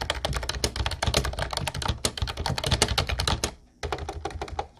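Fast two-handed fingertip typing on an Ubotie mint-blue plastic retro typewriter-style keyboard with round white keycaps gives a dense stream of bright, clacky key hits over a low thump. The rapid hits break off in a brief pause near the end, then the typing resumes.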